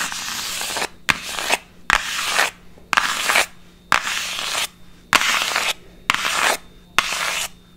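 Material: Cardboard.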